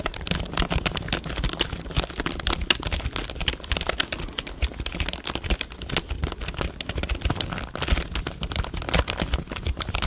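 Fingertips tap and press the keys of a full-size black plastic computer keyboard held close to the microphone. A fast, continuous stream of short, dry clicks with crisp, bright key snaps is heard over a steady low rumble. The clatter stays at an even level throughout the clip.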